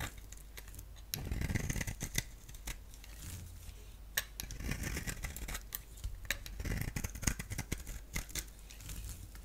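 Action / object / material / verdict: scrape / soap bar / soap / none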